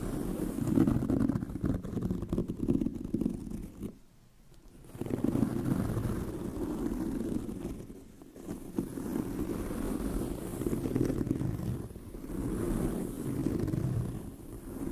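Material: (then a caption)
Leather. Long nails of both hands scratch the tan pebbled leather surface of a brown leather handbag, making a dense, rapid, low-mid rasping texture. The scratching runs in steady bursts, with brief quiet pauses at about 4, 8 and 12 seconds.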